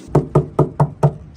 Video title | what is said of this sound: My Mazda Rx-7 Sat for 23 Years.... Will it Start?! | when I knock on it sounds like nothing's in there